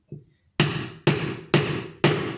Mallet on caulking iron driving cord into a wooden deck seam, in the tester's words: quand on entend un bruit sourd, c'est-à-dire que le fond de joint est au fond. Voilà, là c'est sourd.